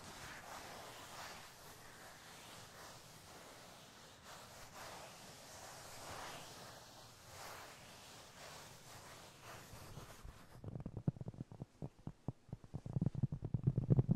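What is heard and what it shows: A round, flat, solid cork trivet about 20 cm across is held in both hands and slowly rubbed and scratched with the fingertips, making a soft, steady, breathy rustle for about ten seconds. It then shifts to quick, dull, low taps on the cork that grow louder and more uneven toward the end.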